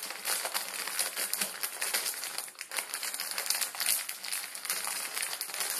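A plastic instant ramen packet with dry noodles inside, lying on a wooden table, is rubbed and crinkled with fingertips, then squeezed. The result is a steady, bright crinkling and crackling of the plastic film, with dense overlapping crackles and almost no low end.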